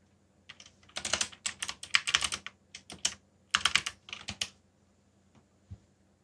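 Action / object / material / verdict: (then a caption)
tap / plastic mechanical keyboard / plastic / none. Fingertips tap the keys of a backlit mechanical keyboard with black plastic keycaps while typing, giving bright, clicky keystrokes that come in quick bursts separated by short pauses. Each click is sharp and dies away almost instantly, with little low-end body.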